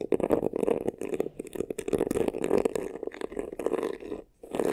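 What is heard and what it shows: Fingernails quickly scratch the textured front and sides of a hollow, black crocodile-embossed faux leather vanity case. The result is a dense run of rough, hollow scraping bursts centered in the midrange, with a brief near-silent pause just before the end.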